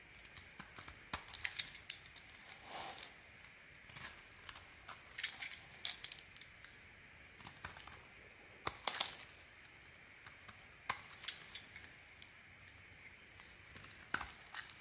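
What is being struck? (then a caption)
Soap bar shaved with a metal blade. A metal blade shaves thin curls off a solid white soap bar held in the hand, making crisp, bright scraping and cutting sounds. Short sharp ticks are scattered between a few longer, louder scrapes, all quiet and dry with almost no low end or ring.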